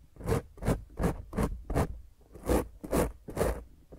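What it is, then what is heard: Foam microphone windscreen scratched with fingernails. Both hands scratch and rub a soft, porous black foam windscreen covering a round microphone head, held steady, using long grey painted fingernails. Each stroke makes a rough, muffled scraping rush, heavy in the low end, repeated in a loose rhythm with a brief pause midway.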